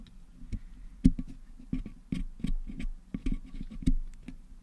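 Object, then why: Metal mesh microphone grille packed with putty, picked with wooden toothpicks. Wooden toothpicks held in fingers pick and scratch at colored putty packed into the hollow metal mesh grille of a Blue Yeti USB microphone head, cleaning the putty out. The result is a series of quiet, dull clicks and soft scratches with low, muffled tones and almost no ring.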